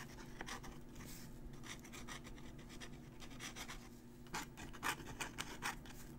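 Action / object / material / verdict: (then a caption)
scrape / metal dip-pen nib on thin crumpled paper / paper / none. A metal dip-pen nib held in the fingers scratches across a crumpled thin paper sheet while writing. Short, dry scratchy strokes come in irregular bursts over a steady low hum, with a few sharper, louder scrapes near the end.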